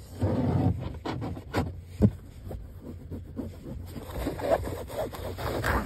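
Fingernails scratch and rub grey woven mesh car seat upholstery stretched over foam padding. The result is a soft, muffled, low scraping and rustling with a few louder strokes.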